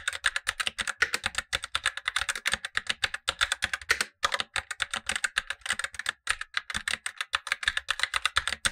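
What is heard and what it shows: Blue-gloved fingertips type steadily on a Razer BlackWidow Lite, the upper of two keyboards: a tenkeyless mechanical keyboard with black plastic keycaps and tactile switches, while the lower keyboard stays untouched. A rapid run of short, bright plastic clacks follows, with almost no low end and brief pauses near 4 and 6 seconds.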